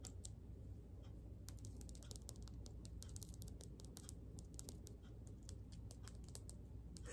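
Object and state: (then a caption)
Rough crystal stone. Fingernails quickly tap and scratch a palm-sized, solid, rough yellowish crystal stone, possibly citrine or calcite, held up in both hands. Rapid, dense, sharp little clicks and scratchy ticks sit over a steady low rumble.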